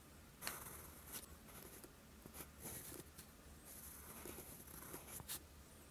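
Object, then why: Steel pen nib on a paper sheet. A steel fountain pen nib is dragged across a flat sheet of lined writing paper in writing strokes, leaving green ink. Quiet, bright scratching strokes rise and fade over a low, steady background hiss.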